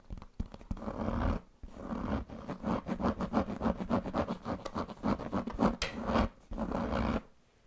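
Fingernails scratch and fingertips rub across the surface of a large black pebbled leather handbag with a metal buckle. The result is a fast, steady run of dull, rasping strokes, broken by a short pause early on and ending in quiet.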